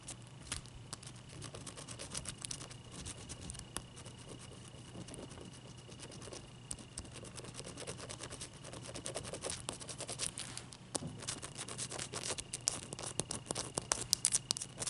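Long, dark-painted nails tap and scratch the top of a large, clear, solid ice cube resting on a towel. Quiet, crisp clicks and dry scraping sound bright and short, with no ring, over a faint steady hum. The taps come faster and louder in the second half.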